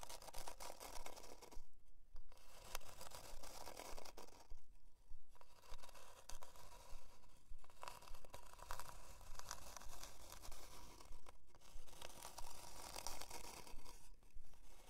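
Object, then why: Flat plywood heart plaque. Long dark nails scratch a solid, flat plywood heart-shaped plaque with a twine hanger as it lies on faux fur. Rough, dry rasping strokes run in steady rhythmic bursts, with bright scratchy texture over a low rumble. Brief pauses break up the scratching, near 2, 5, 7.5, 11.5 and 14 seconds.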